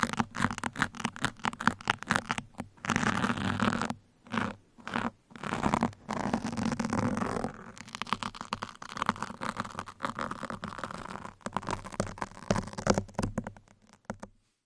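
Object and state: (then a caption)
Foam microphone windscreen scratched with metal pins. Two hands scratch metal pins across the sides and top of a soft, porous black foam microphone windscreen. Dense, rapid crunchy scratches and scrapes come in close bursts, with longer steady rasping stretches and brief quiet gaps between runs.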